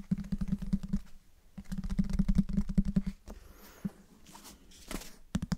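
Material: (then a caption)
Cardboard. A closed, light-colored, medium-sized solid hardcover book is held in both hands close to the microphones while fingertips and nails tap and scratch its cover and spine. Two quick runs of dull, low, hollow taps with a thudding body are followed by a quieter, soft, airy scratching stretch, then a few final taps.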